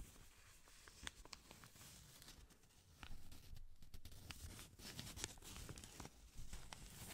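A small folded blue-grey paper banknote is rubbed and crinkled between black-gloved fingertips. Soft, dry crinkling and rustling run throughout, broken by short bright ticks and crackles over a low, muffled rumble, and the handling grows louder in the second half.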